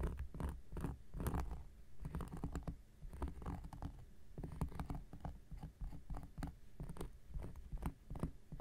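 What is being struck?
Flat cork coaster.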